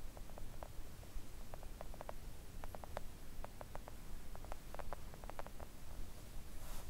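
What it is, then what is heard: Silicone nail art mat. Long acrylic nail tips tap quickly with both hands on a flat, pink, thin and solid silicone nail art mat. The result is a run of soft, short, dull clicks scattered over a steady low rumble.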